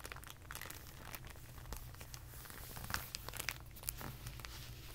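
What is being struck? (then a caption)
Rolled clear plastic bag. A rolled tube of clear plastic packaging bag is squeezed and then rolled under fingertips on carpet. It gives a dense run of quiet, bright crinkles and sharp crackles over a low rumble, with a few louder snaps near the end.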